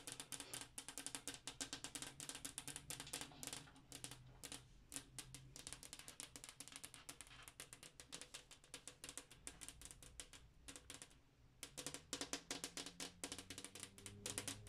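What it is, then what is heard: Glass wall mirror. Long acrylic nails tap quickly on a large, flat, solid-pane glass bathroom wall mirror. The result is a rapid, continuous stream of sharp, bright clicks with very little ring, set over a faint low hum.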